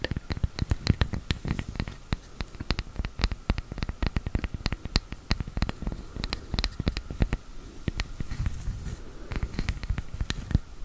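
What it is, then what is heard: Wooden tree slice coaster. A round, flat, palm-sized slice of solid wood with a bark edge, used as a coaster, is held in both hands close to the mic while long dark-painted nails tap and scratch its flat face. Rapid, dry, deep tapping clicks with almost no ring come in quick, uneven clusters over a soft scratchy rustle, with brief brighter scraping toward the end.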